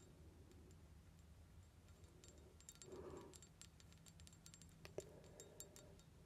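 A small glass perfume bottle, set in a decorative metal cover with metal rings, scattered diamond-like stones, a metal bow on the front and a twist-off top, is lightly tapped. Quick, soft clinks and bright ticks die away almost instantly over a low steady hum, with a slightly fuller ringing tap near the middle and a sharper clink near the five-second mark.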